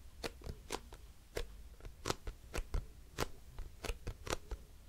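A hollow grey plastic cosmetic bottle with a printed label and a white cap is scratched and tapped with long nails. The result is a string of short, crisp clicks and taps with bright, brief transients over a soft, low scratchy rustle, each sound dying away almost instantly.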